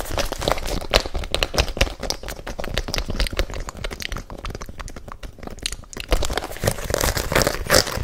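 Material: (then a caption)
Rubber. Fingernails and fingertips rapidly scratch and tap the patterned rubber sole of an empty, hollow pink and white rubber-soled fabric sneaker held close to the microphone. The result is a dense, crackling stream of dry scratches over soft, low thumps, with bright bristly edges. The stream eases into a quieter stretch around the middle and picks up again near the end.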